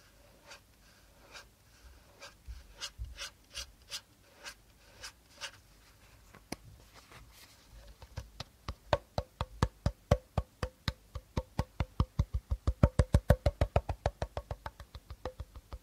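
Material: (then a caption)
Plastic. An empty, medium-sized transparent plastic bottle with a teal cap is held horizontally in both hands and tapped, scratched and rubbed along its hollow body with short nails and fingertips. Slow, soft, scattered taps give way after about eight seconds to quicker, louder, steadily repeating taps. Each tap is a short, dry, hollow knock with a low thump and a faint mid-range ring.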